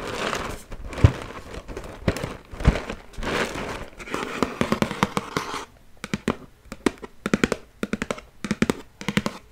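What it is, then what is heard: Cardboard cereal box. A medium-sized Cheerios cardboard cereal box, hollow and apparently holding cereal, is held in one hand while the other hand scratches and taps its front face with long nails and fingertips. For about the first six seconds there is dense, papery scratching and rustling with a few duller thumps. Then come crisp, quick nail taps in short bursts, each with a bright click over a low hollow knock.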